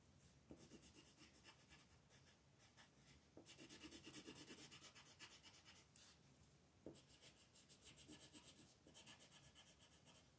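A wooden colored pencil rubs and scratches across a flat sheet of white paper printed with a mandala, lying on a table and held down by the other hand with long pink nails, in short coloring strokes. The result is a quiet, dry, bright scratching with a quick, uneven back-and-forth rhythm. It grows denser and louder for a stretch in the middle before settling back to lighter strokes.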